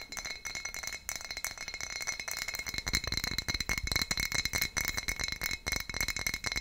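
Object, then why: Glass wine bottle. Long nails tap and scratch along the foil neck and paper label of a full, sealed dark glass wine bottle. Quick, dry clicks and scratchy rasps come in a steady rapid patter, over a faint glassy ring around 2 kHz and higher. Each tap dies away almost instantly, leaving a bright, crisp texture with little low end.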